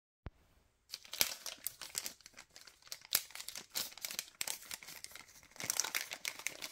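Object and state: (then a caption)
LDPE plastic bag of cable ties, crinkled. Fingers squeeze and crinkle a long, thin white LDPE plastic bag printed with a suffocation warning and a PE-LD recycling mark, holding a pack of cable ties. After a single faint click and a short pause, dense, bright crackling and crinkling runs continuously with sharp snaps, swelling louder near the end.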